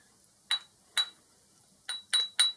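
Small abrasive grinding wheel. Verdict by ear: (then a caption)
Sound. A small abrasive grinding wheel gets a ring test with five light taps, each giving a clear, bright metallic ring near 3.9 kHz that dies away quickly. The clean ringing shows the wheel is not cracked.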